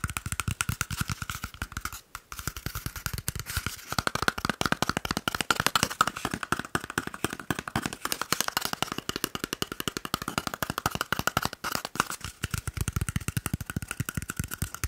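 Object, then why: Cardboard paper roll tube. A small, hollow, empty cardboard toilet paper roll tube is held in one hand and tapped rapidly with the fingertips and nails of the other. The result is a fast, continuous stream of short, dry clicks with a hollow ring around 1.4 kHz. Stretches at the start and end carry deeper thumps, and there are brief pauses near 2 and 12 seconds.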